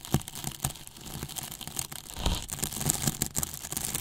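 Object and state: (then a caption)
Polyethylene foam box scraped with a brush. The flat bristles of a paintbrush rub and scratch across the surface of a large white, hollow polyethylene foam box with a microphone inside. The result is a continuous dry, crinkly scraping with bright hiss and repeated sharp scratchy strokes over a low, hollow rumble.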